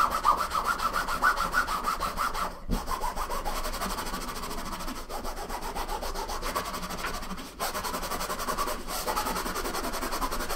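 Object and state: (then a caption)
Nylon fabric suitcase being rubbed. A green microfiber cloth held in the fingers rubs and wipes back and forth across the top of a large, closed, hollow, soft-sided suitcase made of blue nylon fabric, lying flat on a wooden table. The result is a steady, scratchy swishing with a mid-pitched fabric hiss and brief pauses between runs of quick strokes.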